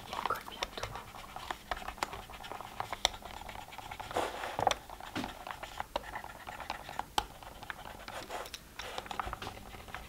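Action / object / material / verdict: scrape / plastic pill organizer lids / plastic / none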